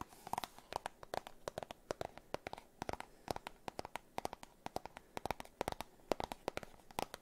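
A small, hollow, white and orange printed cardboard box is tapped and scratched with fingernails close to the microphones. Rapid, irregular dry clicks and taps carry a hollow mid-range tone with scratchy, bright edges. Each tap stops almost instantly, and the taps are separated by brief quiet gaps.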